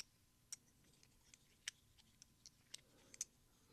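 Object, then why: Large silver dollar coins. Large solid silver Peace dollar coins, held in each hand between fingertips and thumbs, are clicked against each other over scattered coins. Eight quiet, bright metallic clicks come at an irregular pace. Each one is sharp and dies away almost at once.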